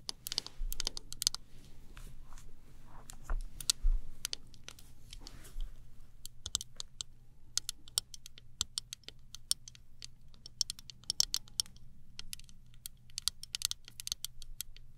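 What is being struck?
Plastic hairbrush handle.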